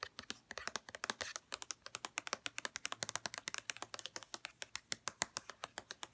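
Long red-painted nails tap rapidly on the sides of a white plastic St. Ives lotion bottle, producing a fast, steady run of about 49 short, crisp clicks. The taps are bright and dry with almost no ring or low end, and each one is separate.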